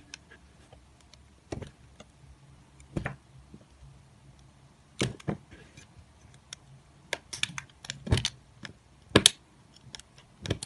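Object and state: Bar of soap being cut.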